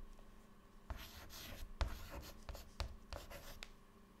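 White chalk held in the fingertips writes text on a clean black chalkboard panel, making quiet scratching strokes. Bursts of bright, gritty scraping come with soft low taps as each stroke starts, separated by brief pauses, over a faint steady background hum.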